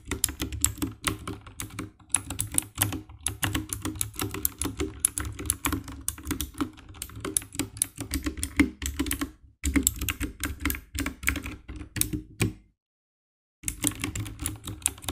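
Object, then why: Plastic mechanical keyboard. Fingertips and nails type quickly on the keycaps of a compact 60% black plastic mechanical keyboard with RGB backlight, producing a dense run of sharp, bright clacks over a low thocky body. The typing continues almost without a break, stops for about a second near the end, then resumes.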